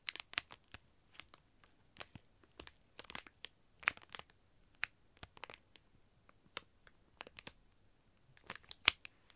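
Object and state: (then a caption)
Plastic packaging bag. A sealed, flat plastic packaging bag holding an iBloom Mini Sanrio toast squishy lies on a table while a flat hand presses it and fingertips and nails scratch and crinkle the plastic. The result is a quiet, irregular series of sharp, bright crinkles and crackles with almost no low end, each snapping off instantly.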